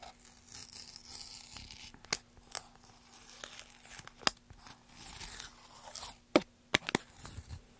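A solid, light wooden block with a price sticker is scraped and scratched with a flat metal tool and fingernails across its surface and label. Soft, continuous scratching and rustling is broken by several sharp, brief clicks.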